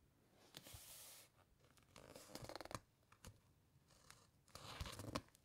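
Long nails scratch along the edges of thick, uncoated pages in an open paper encyclopaedia and turn them. Soft, bright papery rustles and sweeps come in bursts, with sharp little ticks and crackles as each page is flipped over.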